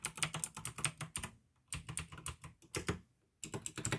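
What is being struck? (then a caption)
Plastic mechanical keyboard. Fingertips type on the plastic keys of a pink AUKEY mechanical gaming keyboard with blue switches, producing rapid, bright clicky key presses with a low thock under each stroke. The typing comes in three quick bursts separated by short silent pauses.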